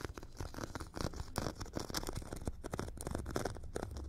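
A metal stick scratches and taps the gritty surface of a hand-held foam foot file, a solid tool with a purple abrasive grit layer over a white foam core. It makes a continuous dense, rasping scrape broken by quick soft taps, with dull low body and little ring. The scratching stays steady and close throughout.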